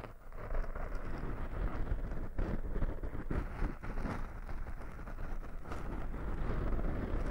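Fingertips scratch and rub two soft, porous black foam windscreens on binaural microphones, producing a continuous low, muffled rustling and scraping with a deep rumble. The loudness stays fairly steady with small uneven swells, and there is no clear high-end content.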